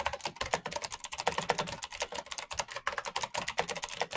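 Fingertips type fast on a full-size black plastic Razer mechanical keyboard with clicky green switches and RGB backlight. The result is a rapid, uneven stream of sharp, bright key clicks that die away almost instantly, with very little low end.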